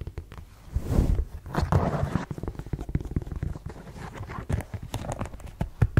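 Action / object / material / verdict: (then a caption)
tap / suede ankle boot with block heel / suede / none. A black suede block-heel ankle boot is tapped on its chunky heel and sole and scratched across the suede with long yellow nails. Quick, dull low taps come in close succession, mixed with soft brushing scratches around the one- and two-second marks.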